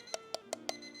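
Four light taps on the metal lid of a canning jar, set on a glass jar, each giving a short hollow ping with a tone around 650 Hz and bright upper overtones. The lid is unsealed, which is why it sounds hollow when tapped.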